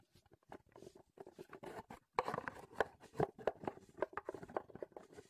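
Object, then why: Small cardboard box. Fingertips and nails scratch and tap a small, printed Heddon cardboard lure box, empty and reassembled, held in the hands. Soft, papery scratching gives way to a quick run of dry, hollow taps with a low-mid tone. Each sound dies away almost at once.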